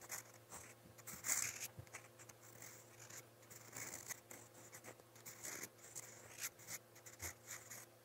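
A steel fountain pen nib writes on lined white paper in a motemote spiral notepad. Quiet, bright, scratchy strokes come in short bursts, with a louder rasp early on, over a faint steady low hum.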